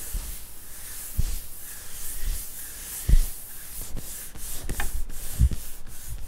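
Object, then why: Wood-grain school desk top. Fingers rub and scratch across the flat top of a wood-grain school desk, a large solid panel. A soft, steady low rubbing with a faint hiss is broken by a few dull thumps.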